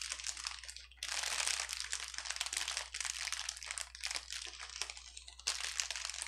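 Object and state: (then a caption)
Plastic bubble wrap crinkling. A clear plastic bubble wrap sheet on a table is squeezed, lifted and pressed flat with fingers and palms, producing dense, bright crinkling. The crackle runs continuously in uneven bursts, swelling louder around one second and again near the end, over a faint steady low hum.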